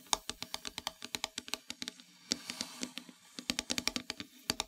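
Long metallic nails tap and scratch across a flat, solid, dark painted wooden heart-shaped plaque. A quick, uneven series of about thirty crisp, bright clicks, dry and with almost no ring, is interleaved with faint scratchy rasps between them.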